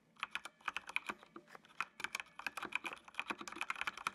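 Fingertips type on a full-size black plastic mechanical computer keyboard with RGB backlight, producing about 25 quick, crisp key clicks in an irregular rhythm. Each click is short and dry, with no low end and a bright tone centered around 2.5 kHz.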